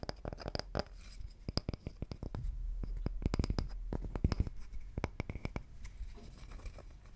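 Fingertips scratch and tap on a round, solid cross-cut wooden tree slice with visible rings and bark. Quick, irregular taps land as short, dry, low knocks with almost no ring, mixed with soft, bright scratching between them.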